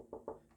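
Two knocks on the hollow outer wing of an Epiphone Sheraton Pro II semi-hollow arch-top guitar with a layered maple body, away from the solid center block of wood. Each knock gives a short, hollow midrange thump centered around 450 Hz that dies away quickly.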